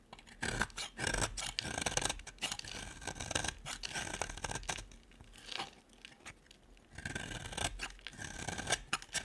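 A solid, hand-sized beige bar of dry soap is scraped with a utility knife blade, shaving off fine curls. Bright, crisp scraping and rasping strokes come in rapid bursts with short pauses between them.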